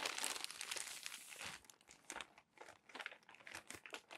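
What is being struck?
Glossy paper magazine.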